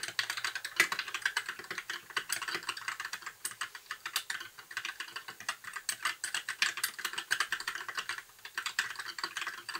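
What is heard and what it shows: Fingertips type steadily on a compact white mechanical keyboard with plastic keycaps. Quick, sharp key clacks come in a dense, uneven stream, bright and crisp with almost no low end. Each one snaps off with little ring.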